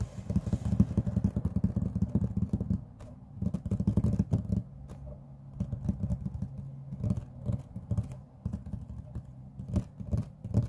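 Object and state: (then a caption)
Laminate tabletop tapped with fingertips. Fingertips and short nails of both hands tap rapidly on a large, flat, solid grey laminate tabletop. The result is a dense run of dull, low knocks that die away almost instantly, with no bright edge. The tapping is busiest at the start and thins into lighter, scattered taps after brief quieter stretches around three and five seconds.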